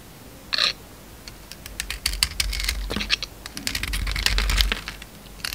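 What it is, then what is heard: Bar of soap. A utility knife blade shaves and carves curls of black glitter coating off an oval, solid white bar of soap held in the hand. Quick, dry, bright scraping crackles and ticks come in clusters over a faint low rumble, opening with a brief hiss and fading back to near quiet between cuts.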